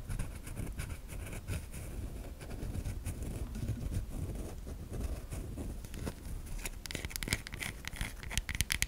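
A solid white bar of soap held in the hand is scratched and scraped across its top and edge with long nails. The result is a continuous dry, crackly scraping with a low rumbling body and brief bright ticks that grow sharper and more distinct toward the end.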